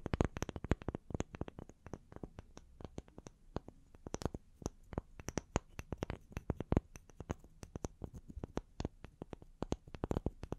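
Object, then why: Small wooden log slices. Long fingernails rapidly tap and scratch the faces and edges of two small, solid, round wooden log slices, held upright and hanging from the fingertips. The result is a dense, quiet stream of sharp, dry clicks with almost no ring, each a brief broadband snap reaching up to bright highs over a soft low thump.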